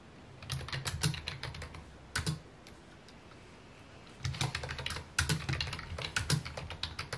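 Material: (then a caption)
Plastic. Fingertips type on a full-size white and mint plastic keyboard with hollow key housings, resting on a wooden desk. Quick runs of clicky taps come with a low, hollow thump under bright key clatter. Two bursts of typing are separated by a quiet pause of about two seconds, and each tap dies away almost instantly.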